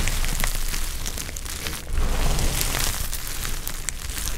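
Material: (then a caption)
Soap. Fingertips with pink-painted nails rub, grab and crush a large pile of small, dry, brittle olive-green soap chips and shavings on a tiled surface. The result is a steady, dense crackling and crunching, with a heavy low rumble underneath and scattered bright crisp snaps. The crumbling swells briefly louder midway through.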